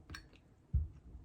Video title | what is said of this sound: How to make Marmalade! | that goes up and down the little seal. It's not sealed.